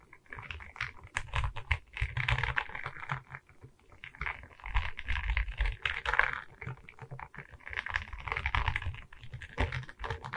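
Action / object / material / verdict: scrape / resin bead diamond painting on wooden board / resin beads / none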